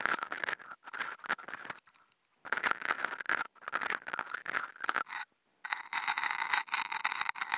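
Two wooden toothpicks fitted with contact mics scratch across a flat white non-woven fabric sheet, making dry, bright scraping strokes in short bursts separated by brief silences. In the final couple of seconds the scratching becomes a steadier, thinner rasp with almost no low end.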